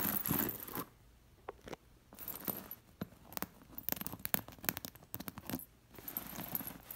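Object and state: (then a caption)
Sequined pillow with metal discs. Fingers and long nails brush a white woven cushion covered in sewn-on metal sequin discs. The discs jingle in bright, clustered clicks and rustling scratches, separated by quiet pauses.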